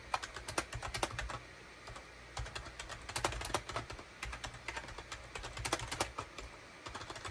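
Fingertips type on a full-size gray and beige SHIPADOO K600 wired USB plastic keyboard with hollow plastic keycaps. Quick, irregular bursts of bright, dry plastic clacks come in rapid runs with short pauses between them. A steady low hum sits underneath.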